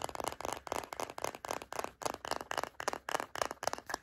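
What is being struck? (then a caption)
Plastic deodorant stick container. Long nails tap and rub a filled white plastic Native deodorant stick container, producing a quick, uneven run of dry, scratchy clicks and rubs. The sound is hollow-sounding and midrange with a bright edge, each burst ending abruptly with no ring.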